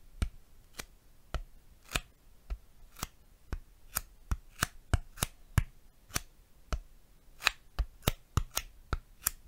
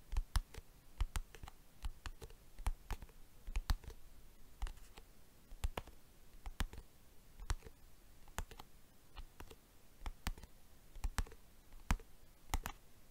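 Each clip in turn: First: styrofoam tapping. Second: plastic box tapped.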